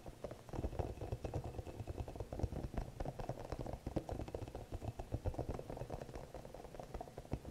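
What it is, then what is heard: Rubber spiky massage ball. Long nails scratch and tap the soft spikes of a small green hollow rubber spiky massage ball held up close. The result is a dense stream of quick, muffled ticks and scrapes over a low, boomy rumble, with little bright content.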